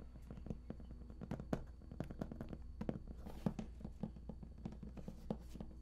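Fingertips tap and rub on the raised lid panel of a large, hollow, printed cardboard collector's edition game box. The result is a quick, irregular series of soft, dull, hollow taps with a low body, mixed with dry brushing and scratching from the rubbing. A steady low hum runs underneath.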